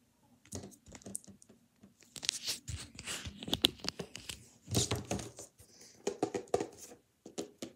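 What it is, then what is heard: Book being tapped. A paper book is tapped with the hands for ASMR, giving quiet, dry, papery taps mixed with crinkly scratching and rustling. The taps come in irregular clusters with very short ring and a bright, high-pitched texture.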